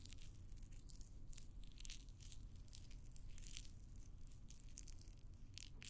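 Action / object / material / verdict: scrape / green floral foam block / floral foam / none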